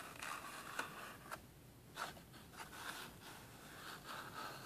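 A small, hollow, empty-looking rectangular cardboard retail box, printed black with red splatter, is held in both hands while fingertips and medium manicured nails tap and scratch its printed surface. The result is soft, dry scraping and rustling, centered around 1.5 kHz with bright edges, broken by a few sharper taps.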